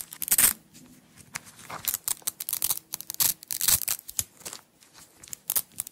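Long acrylic nails peel a strip of red nylon hook-and-loop (velcro) tape off a small roll and pull it apart. Many short, bright, crackling rips come in quick bursts with brief quiet gaps between them. The sound is almost all high hiss with hardly any low end.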